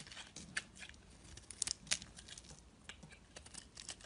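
A utility knife blade shaves and scrapes thin curls off the surface of a solid, hand-sized, translucent orange glycerin soap bar held in the fingers. A rapid series of bright, crisp scraping and cutting ticks is heard, mostly high in pitch with little low end, each one short and dry with almost no ring.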